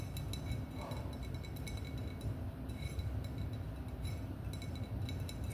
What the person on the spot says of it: Wine bottle Tapping 🍾